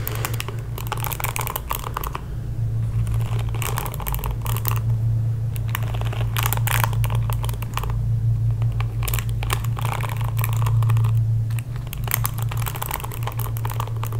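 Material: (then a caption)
Plastic. Fingertips and nails scratch and flick across the dense plastic bristles of a pink plastic paddle hairbrush held in one hand. The result is quick bursts of dry, crackly, bright scratching and ticking in an uneven rhythm, over a steady low hum that runs throughout.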